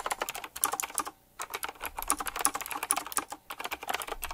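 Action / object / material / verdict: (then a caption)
tap / typewriter-style mechanical keyboard with round plastic keycaps / plastic / none. Fingertips type quickly on a full-size typewriter-style mechanical keyboard with round black plastic keycaps, chrome-look rims and a metallic frame. A rapid, uneven stream of sharp, bright clicks and clacks with almost no low end, each keystroke short and dry. Two brief pauses break the flurry before the typing resumes.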